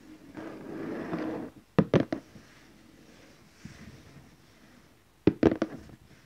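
Fingertips gently tap the lid of a large glossy orange cardboard gift box, making two short clusters of soft, hollow, low-mid taps with almost no ring. A quiet rustling hush comes before the first cluster, and a faint shuffle sits between them.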